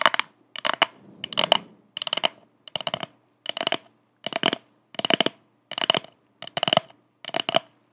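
An empty purple plastic party cup held upside down is tapped and scratched with long acrylic nails. About a dozen short bursts of quick, bright clicking taps, each a rapid cluster, are separated by brief silences. A little soft scratching rustle fills a couple of the early gaps.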